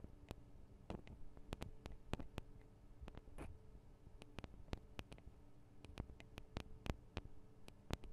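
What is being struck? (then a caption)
Small metal microphone capsules. Long acrylic nails tap on the tops of the small metal microphone capsules of a Tascam DR-40 recorder. The result is an irregular run of sharp, bright clicks that die away almost instantly, over a steady low hum.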